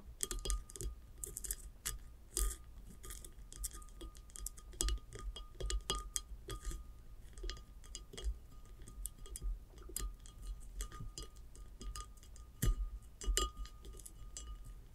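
Long acrylic nails tap and scratch a tall, hollow, upright ceramic vase with a glazed top and an unglazed sandy lower band. The result is a steady run of quick, bright clicks and dry scratching that stop almost at once, over a low, constant hum and a faint steady tone.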